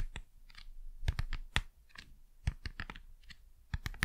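Fast, crisp tapping on cardboard packaging, with short dry clicks that cut off almost at once over a low background rumble. The taps come in uneven bursts, some louder and sharper than others, with a bright crackling edge.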